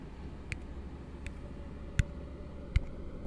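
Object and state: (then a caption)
Plastic cup tapped. An empty, hollow plastic drinking cup is held open end down in one hand close to the mic, and fingertips and nails tap its base and sides. Four short, bright clicking taps sound at uneven intervals, each dying away almost at once. Beneath them runs a steady low rumble.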